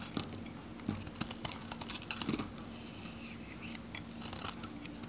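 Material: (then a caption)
Soap. A steel knife carves and scrapes thin curls off a dry, varnished solid pink Godrej No.1 soap bar with a red rim, held in the hand, until its face is smooth. Bright, dry scraping strokes and crisp little ticks come in uneven bursts over a faint steady hum near 200 Hz.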